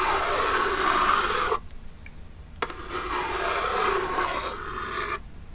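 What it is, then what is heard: Cardboard box scratched with long nails. Long jeweled nails scratch the lid of a small, hollow, printed Birchbox cardboard box tilted forward. Two stretches of dry, raspy scratching are heard with a mid-pitched, papery tone, separated by a short pause with a single faint tap.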